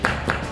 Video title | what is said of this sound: Take a Tour of a Cybertruck - Educational Videos for Kids | it almost sounds Hollow in there